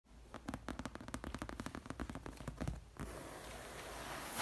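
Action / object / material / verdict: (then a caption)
tap / padded leather sofa / leather / none. Long red acrylic nails tap rapidly on the rounded armrest and seat cushion of a large, padded, soft cream leather sofa, making a quick run of crisp, crackly clicks. After about three seconds the tapping gives way to a steady, rising scratching hiss across the leather.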